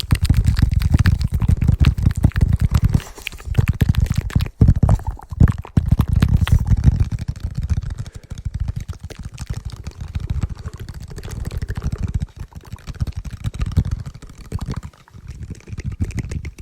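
A cedar wood plank is tapped continuously with rapid, irregular taps. The taps give deep, dull, thumpy knocks that stop almost at once, with most of the energy in the low end. The tapping swells and fades in level over the clip.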